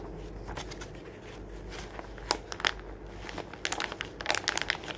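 A hand flips a page of an open glossy paper magazine lying on a wooden table, then crumples and crinkles the page with the fingers. A soft, steady papery rustle gives way to two sharp, bright crackles, followed by a denser run of crisp, high crinkling snaps toward the end.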